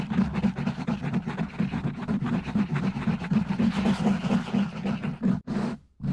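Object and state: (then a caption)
Foam microphone windscreen being scratched. Fingertips of both hands scratch and rub the sides of a black foam windscreen on a silver microphone. The result is a fast, dense, crackling scratch with a strong low rumbling thump at roughly four strokes per second. It cuts out briefly near the end before a final burst.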